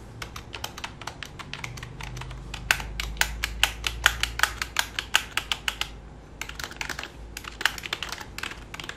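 Fingertips of both hands type and tap on the keys of a black full-size plastic computer keyboard resting flat on a lap. A quick run of sharp, bright plastic clicks with very short decay continues over a faint low hum, with a brief pause near the six-second mark before the typing resumes.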